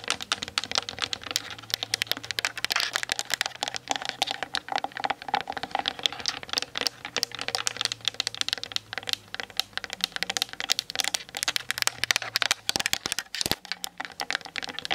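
Long nails tap fast on the lens barrel and hollow plastic body of a Canon DSLR mounted on a tripod. The clip is a dense, continuous run of sharp, dry, bright clicks with no ring, like rapid typing, over a faint low hum.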